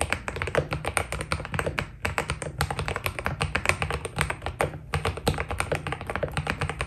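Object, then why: Mechanical keyboard with plastic keycaps. Both hands type continuously on a white full-size Keydous NJ80 mechanical keyboard with a steel plate, foam dampening and cream Cherry-profile PBT plastic keycaps, fingertips pressing and tapping the keys. The result is a dense, steady stream of short, deep clacks with a low thock and quick, dry decay, with brief pauses near the two- and five-second marks.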